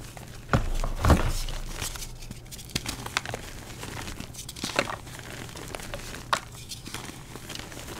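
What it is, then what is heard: Gym chalk blocks being crushed. Bare fingers and palms crush, crumble and squeeze a pile of purple-dyed gym chalk (magnesium carbonate), solid soft blocks sitting as chunks and powder in a dark bowl. Two louder, dull crunches open the clip, followed by an irregular run of softer crumbly crackles and gritty squeezes over a low, muffled background.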